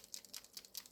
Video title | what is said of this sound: MOLOTOW versus TOOLI-Art paint markers Part2 | It's really a gentle sound, but you can hear it clearly.